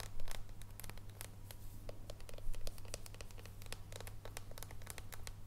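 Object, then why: Dark chocolate bar. Long painted nails tap and scratch an unwrapped solid dark chocolate bar with embossed squares, first as it rests on a table and then after it is lifted. Quick, irregular, bright clicks and dry scratches sound over a steady low hum.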